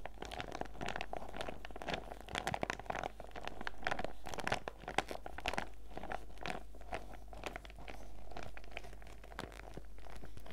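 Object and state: Clear plastic zip pouch being crinkled.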